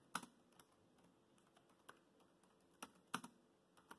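Fingertips type on the black plastic chiclet keys of a dark grey laptop keyboard. Eight quiet, sharp plastic clicks sound at irregular spacing, each dying away almost at once. The tone is light and bright, with little low end.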